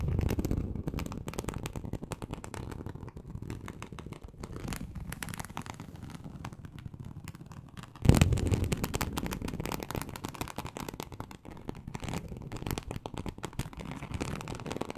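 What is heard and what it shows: Very long acrylic nails on both hands scratch across a large flat teal snakeskin-embossed leather sheet, likely faux, lying on a surface. The result is a dense, continuous low rasping texture with many rapid small strokes. A louder, fuller burst of scratching starts around the eight-second mark before easing back down.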